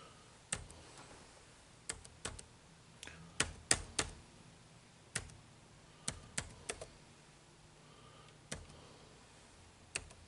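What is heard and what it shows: Fingertips type on the dark plastic keys of an HP laptop keyboard in a slightly quieter stretch, producing 14 short, bright clicks with a soft low thump. The keystrokes come in uneven bursts and pauses, each dying away almost instantly over a faint steady hiss.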